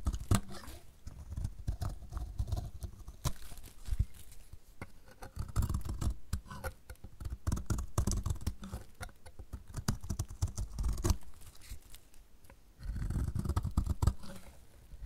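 A metal utility blade shaves curls off the edge of a solid, dry yellow bar of soap held in the hand. It makes a steady run of short, dry, crisp scraping and cutting strokes, dense and low in tone, with louder bursts of rapid shaving between quieter passes.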